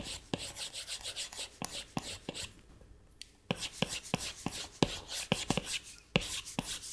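A plastic Apple Pencil tip makes long rubbing strokes across the flat glass touchscreen of an iPad to draw hair. Each stroke is a bright, hissy scratch, punctuated by sharp little ticks as the tip lands on the glass. The steady run of strokes pauses briefly about halfway through, then picks back up.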